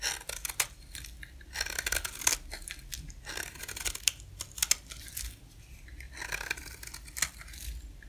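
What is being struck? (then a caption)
Bar of soap scraped with a blade. A utility-knife blade held against the edge of a solid, dry, white rectangular soap bar scrapes and shaves it. The result is bursts of bright, crisp rasping and crackling strokes with a few sharp clicks, over a faint, steady low hum.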